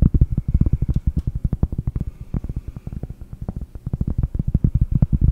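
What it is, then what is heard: Cork board. A round, solid cork board held in both hands is tapped rapidly with fingernails close to the microphone. About 37 quick, dull taps land in an uneven rhythm. Each is a soft, low thump that stops almost instantly, with no ring.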